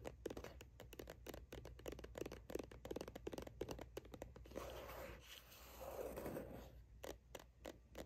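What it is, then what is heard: Plastic sunscreen tube. Long acrylic nails from both hands tap and scratch the label side of a plastic sunscreen tube held steady below the camera. Rapid, dry clicking taps fill the first half, give way to a softer, continuous scratching rub in the middle, then return as sparse taps, over a faint low hum.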